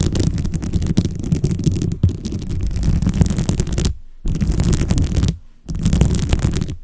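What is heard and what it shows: Long blue acrylic nails tap and scratch a dome-shaped microphone cover densely covered with small glossy plastic beads. The result is a dense, continuous crackling rattle with a heavy, boomy low-end rumble, broken by two brief silent pauses near the end before the scratching resumes.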